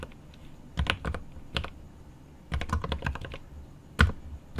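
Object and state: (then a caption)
Mechanical keyboard, plastic keycaps on metal case. Fingertips of one hand tap rapidly on the plastic keycaps of a GMMK Pro 75% mechanical keyboard with milky yellow switches and an aluminum case. Quick bursts of clacky keystrokes come in irregular clusters separated by brief pauses. Each tap has a deep thock with a bright click on top and dies away almost instantly.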